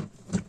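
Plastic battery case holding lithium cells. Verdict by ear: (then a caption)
Hollow. Two hollow knocks on the plastic case of an opened SANFOU 12.8 V 100 Ah LiFePO4 battery, which holds two prismatic LiFePO4 cells and a BMS. Each knock is a short, low thud near 180 Hz that dies away quickly. The case sounds hollow even though its whole lower part is filled with cells, which is normal.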